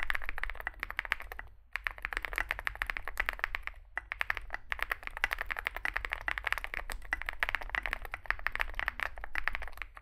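Fingertips type continuously on a small Zoom65 65% mechanical keyboard with a dark case and white and grey SA plastic keycaps. A rapid stream of short, sharp clacks sits around 2 kHz, with brief pauses near 1.7 and 4 seconds. A steady low rumble runs underneath throughout.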